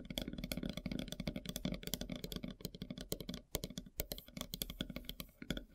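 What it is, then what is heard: Wooden log slice tapped with fingernails. Long silver nails tap rapidly on a large, solid, flat slice of light-colored wood with its bark edge still on. The result is a dense run of short, dry, clicky taps with a soft low knock under them and bright ticks on top, each dying away almost at once.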